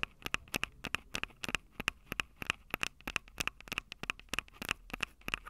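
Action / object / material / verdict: tap / metal mic capsules on a small handheld recorder / metal / none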